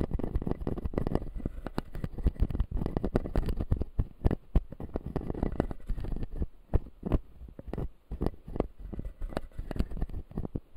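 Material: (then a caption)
Plastic. A fingertip scratches the white plastic teeth of a closed, solid clear acrylic dental model. The result is a steady stream of muffled, low scratching and short dry clicks that come in uneven bursts, with little high-end brightness.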